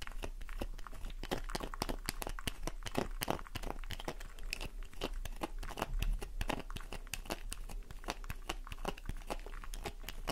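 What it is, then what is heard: Soap bar being scratched. A worn solid pink soap bar, held in the hands, is scratched rapidly with long nails, leaving piles of shavings. Dense, fast crunchy scrapes and crinkling ticks run continuously over a low rumble, with short, dry, bright transients.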